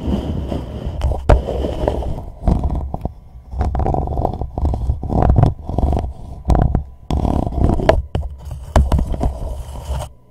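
A hollow white plastic reusable cup sits upside down over a microphone while a thumbnail, then the fingertips of both hands, scratch and tap along its side. The cup turns the contact into a deep, boomy rumble of uneven scratching bursts, broken by sharp clicking taps and brief pauses.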